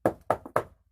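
Four quick knocks on a second spot of an RV wall panel give short, dry, solid-sounding thuds with almost no ring; the third knock is softer. The panel sounds solid, indicating that moisture from inside damaged the interior surface rather than the paneling cracking.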